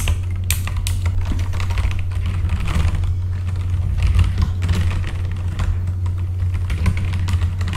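Both hands' fingertips type steadily on a full-size backlit mechanical computer keyboard with plastic keycaps. Rapid, short clicky key strikes run throughout over a constant low hum that dominates the sound.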